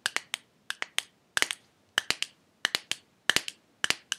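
Fingernails tap a small clear glass jar with a silver metal lid, partly filled with red pieces and held sideways, striking near the lid and on the glass body. The taps come in quick groups of three: sharp, bright clicks with almost no ring, separated by short silences.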